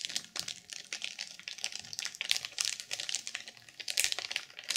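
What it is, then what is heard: Sequin journal in plastic wrap. Long purple nails tap quickly on the cover of a black sequin journal sealed in clear plastic film. This makes a fast run of bright, crinkly clicks and crackles with almost no low end. The dense taps blur together, so no separate count can be made.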